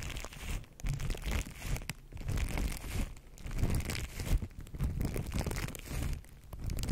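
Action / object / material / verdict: scrape / plastic cling film wrapped around a microphone / plastic film / none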